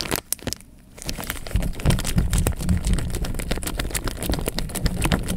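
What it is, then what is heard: Water-filled plastic bag. A clear plastic bag half full of water, held up by the top, is shaken and squeezed by hand so the water sloshes inside. Sharp crinkles of plastic come first, then a brief quiet moment, followed by a steady run of low, heavy sloshing thumps mixed with bright crackling of the bag.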